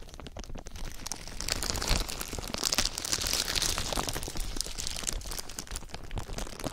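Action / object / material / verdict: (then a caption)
scrape / thin plastic film / plastic / none. A thin clear plastic sheet lies over a binaural ear microphone and is rubbed with fingertips and nails, then lifted and crumpled with both hands. Dense, continuous crinkling and crackling fills the clip, with bright rustle and quick sharp snaps over a low rumble close to the mic.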